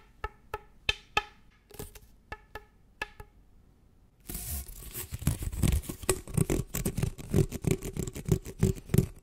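Fingernails work an orange, hollow, flexible ribbed plastic tube held close to the mic. First comes a series of separate sharp, hollow taps with a short pitched ring. After about four seconds, these give way to dense, rapid scratching along the ridges, full of crackling clicks and low thuds.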